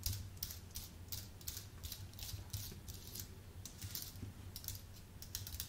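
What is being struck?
Keyboard with plastic keycaps on an aluminium base.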